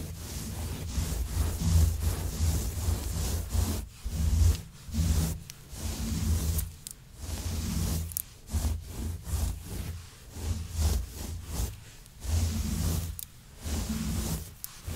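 Long nails scratch into a grey long-pile synthetic faux fur rug while hands rub across its surface. The result is a run of soft, dense rubbing and scratching strokes with a low, rumbling body and a faint airy hiss, separated by short pauses.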